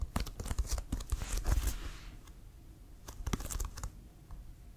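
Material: Leather.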